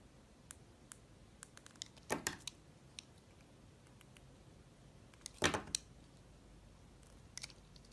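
A utility-knife blade shaves and carves strips from the lobes of a solid, hand-sized yellow soap molded as a banana bunch and held in the hand. Faint, sparse ticks and clicks are broken by two longer, crisp scraping bursts of the blade cutting through the soap, bright and dry with almost no ring.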